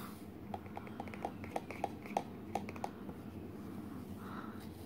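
Fingertips and short nails tap the sides and flap of a small, hollow, empty printed cardboard Garmin box with its lid opened partway. The result is a series of quick, light, hollow taps with a midrange knock over a soft background hiss.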